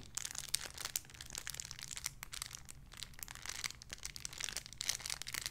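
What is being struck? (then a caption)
Thin plastic bag holding a soft squishy toy. Fingertips with long red nails crinkle and scratch a small, clear, crinkly plastic bag holding a soft pink squishy toy. The result is a quiet, steady stream of bright, sharp crackles and scratchy rustles with very little low end.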